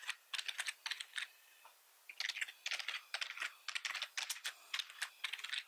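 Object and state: Plastic computer keyboard.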